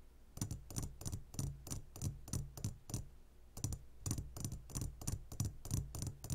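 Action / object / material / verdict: tap / glass jar of gummy candies / glass / none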